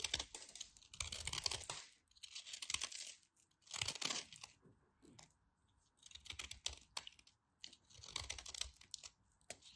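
A knife cuts and scrapes a carved-down piece of solid white bar soap held between fingers with long white nails. Crisp, bright scraping and crackling come in dense bursts separated by short quiet gaps, with almost no low end and no ring after each stroke.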